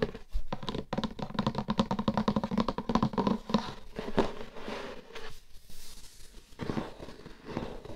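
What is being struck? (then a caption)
Closed cardboard gift box. Glittery manicured nails scratch and rub the printed lid of a closed, hollow light-blue cardboard gift box while fingertips tap on it. The result is a dense run of quick, dry taps and scratchy rubbing with a hollow, boxy resonance low in the range. The sound then thins into softer, intermittent scraping toward the end.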